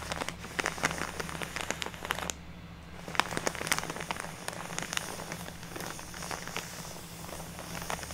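Long natural nails tap and scratch across a large, filled plastic craft bag of fake snow lying on a wooden table. Quick, bright crinkling taps and scratchy rustles come in an uneven, rain-like patter over a low steady hum, with a brief quieter gap midway.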